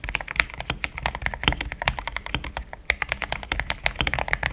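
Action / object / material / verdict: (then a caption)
tap / mechanical keyboard with plastic keycaps / plastic / none. Fingertips type in steady taps on a pink-framed compact mechanical keyboard with thick cream XDA plastic keycaps, a polycarbonate plate, linear switches and a hollow case. Rapid, continuous keystrokes make short, bright plastic clacks with a slight low thump under each. Every tap dies away almost instantly.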